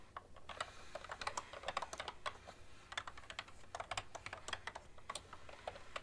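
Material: Plastic.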